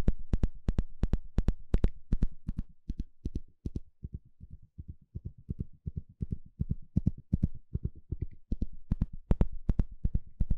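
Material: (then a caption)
Plastic. A small blue plastic comb with fine teeth, held in the hand, has its teeth scratched and flicked with a thin plastic stick. The result is a quick, uneven run of short, dry clicks and ticks, each dying away almost at once, with a low, thumpy body and some brighter crackle on the sharper flicks.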